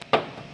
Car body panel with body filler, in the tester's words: Ito parang pinto yung kinakatok natin